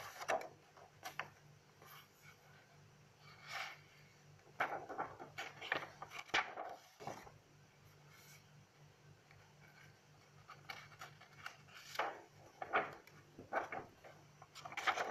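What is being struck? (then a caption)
Paper notebook pages. Long decorated nails and fingertips rest on and rub the pages of an open paper notebook, then lift and turn a page. Soft, dry rustles and scratchy paper swishes come in short bursts with quiet pauses between them, over a faint steady low hum.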